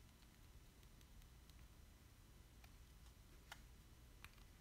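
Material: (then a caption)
Plastic. Fingertips tap and rub the face of a small, thin, solid plastic Splatoon Squid amiibo card held in one hand. Faint, bright ticks and clicks sit over a steady low hum, with two slightly sharper taps near the end.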